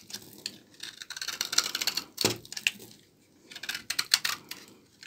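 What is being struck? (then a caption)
Bar of laundry soap. A blade scrapes brittle shavings off a solid, partly cut bar of dry old laundry soap held in the hand. Bursts of dry, bright, crackly scraping come in two clusters, with sharp little snaps and short high-frequency ticks between them.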